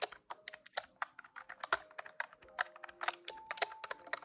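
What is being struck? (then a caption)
Plastic desktop calculator keys. Fingertips type rapidly on the plastic keys of a large grey-white plastic desktop calculator, producing about 24 quick, dry, bright clicks with almost no ring. Faint steady low-mid tones sound beneath the tapping.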